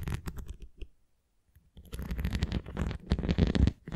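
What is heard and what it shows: Long painted nails scratch along the rim and top of a thin, hollow red plastic flying disc toy with nubs, then tap its nubbed face. Dry, low scratching and soft tapping come in uneven bursts, with a near-silent pause of about a second before denser, louder scraping resumes.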